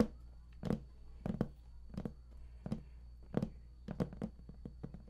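Fingertips of both hands tap rapidly on the edges of an embossed, raised panel on a large, hollow, printed cardboard collector's edition game box. Thirteen soft, dull, hollow taps land in an uneven rhythm, each dying away almost at once. A faint, steady low hum runs underneath.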